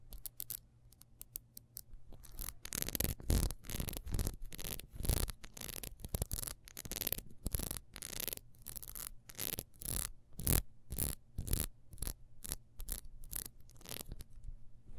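Long acrylic nails scratch quickly across a solid, hand-sized, ribbed yellow beeswax candle held in the hand. The clip opens with sparse, light taps, then becomes a dense run of sharp, bright scratching bursts with low thumps beneath, each burst stopping dead with no ring.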